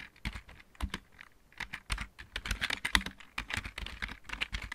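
Fingertips of both hands type on a full-size, backlit plastic computer keyboard with mechanical keys. The result is a quick, uneven run of short, sharp clacks with a bright click near 2 kHz and a soft low thump under each keystroke.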